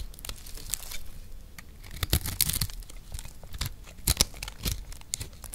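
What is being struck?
Recycled soap block.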